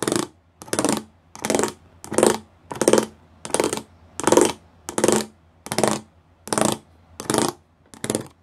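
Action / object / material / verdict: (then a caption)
tap / plastic panel with raised pyramid studs / plastic / none. Fingertips and nails tap across a flat grey plastic panel covered in rows of small raised square pyramid studs. About twelve short bursts of rapid, bright clicking come at a steady pace, separated by near silence.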